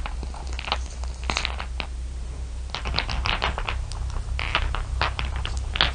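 Fingertips and long nails rake, scratch and tap across a heap of small solid glass marbles, clear blue and dark shiny, resting on dark fabric. Bright, clustered clicks and clattering rattles come in irregular bursts over a steady low hum.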